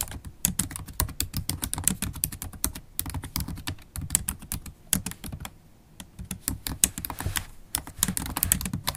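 Fast typing on a MacBook Pro laptop keyboard, its low-profile black plastic keys set in a silver aluminum body, struck with long stiletto acrylic nails and fingertips. A dense stream of short, crisp clicks with bright, sharp edges over a soft low thump, broken by brief pauses near 3 seconds and around 5.5 to 6 seconds before the rapid tapping resumes.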